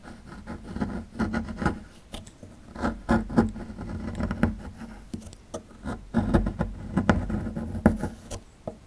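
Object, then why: Small plaster block scraped with a metal pick. A small solid plaster dig block is held in the hand while its edge is scraped and chipped with a metal pick tool. Irregular bursts of dry scratching and gritty scraping mix with quick, dull ticks of chipping, centered low around 190 Hz with little brightness. Each burst stops almost at once, leaving brief quiet gaps between the flurries.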